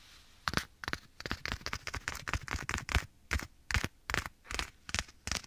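Fingertips and nails of one hand tap and scratch a black leather glove worn on the other hand, held at the right ear of a microphone. Quick, irregular bursts of dry crackly taps and scrapes come with a soft low thump and bright, rustling leather texture. Each sound ends almost instantly, with brief quiet gaps between.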